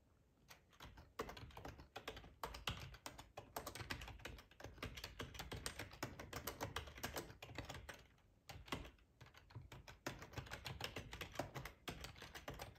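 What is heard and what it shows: Fingertips type steadily on a black plastic ergonomic split keyboard with a hollow housing, resting on a cloth tablecloth. The result is a continuous stream of quick, clicky keystrokes with a hollow low thump under a bright clatter. The typing runs in bursts with brief pauses.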